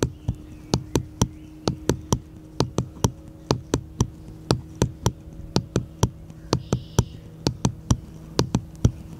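A small, solid, unfinished light wooden paddle-shaped piece is held upright in one hand and tapped with the fingertips of the other. About 28 short, dry taps land at an uneven pace of roughly one per second, each a quick knock with a low, woody body and a bright click that dies away almost instantly. A faint steady low hum runs underneath.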